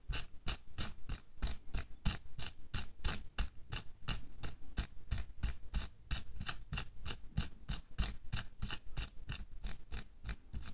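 Bare fingertips and nails rub, scratch and pinch the wrinkled surface of a thin pink latex or nitrile glove worn on a hand lying flat on a white table. The result is a steady rhythm of quick, bright, rasping swishes, roughly three per second, each with a soft low thump underneath and almost no ring after each stroke.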